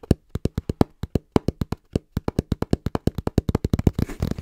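Fingertips tap quickly and rhythmically on the front panel of a small, brown, hollow cardboard box held in both hands. Each tap is a short, dull, low thud with no ring. The taps come faster toward the end and blur into a dense flurry.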